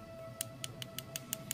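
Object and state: Iron-bearing stone, sounds unlike solid iron.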